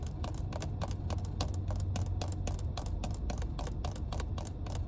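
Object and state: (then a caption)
Plastic water bottle tapped with nails. A small clear plastic water bottle, full of water, has its white plastic cap tapped and scratched with long red nails inside a car. Quick, bright clicks and scratches patter steadily over a constant deep, low hum.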